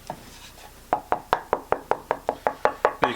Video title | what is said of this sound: Taptone Tonewoods & Wood Selection for your guitar project - BigDGuitars tonewood debate | piece of hickory does not have a good tap tone. It has more of a thunk than anything else.